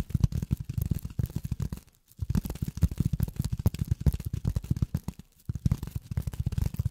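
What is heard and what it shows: Polyethylene foam is tapped rapidly with long fingernails, producing dense, dull, low thumping clicks with short crinkly edges and almost no ring. The tapping comes in quick runs, with brief pauses near 2 seconds and around 5.3 seconds.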